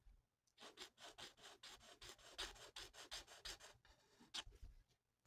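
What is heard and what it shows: A felt-tip marker is rubbed in quick back-and-forth strokes across a thin, flat paper mandala coloring sheet lying on a table. The result is a rapid series of soft, bright, raspy scratching bursts with a pause near the end and a final light stroke.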